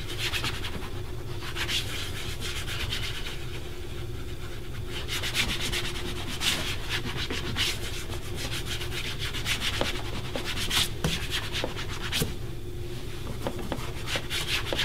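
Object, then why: Leather dress shoe rubbed with a cloth. A cloth held in the fingertips rubs and polishes the toe and upper of a black leather dress shoe, worn on a foot resting on a wooden shoe-shine stand. There is a steady, bright swishing rub in uneven strokes, with occasional soft ticks over a constant low hum.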